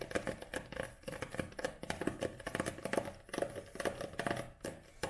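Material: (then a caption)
Paper. Long nails tap on a paperback book, first held on edge and then laid flat, striking the paper page edges and the glossy back cover. A quick, uneven run of short, dry taps with a papery tick and a soft mid-range knock around 570 Hz, each dying away almost at once. Faint crinkling sounds between the taps.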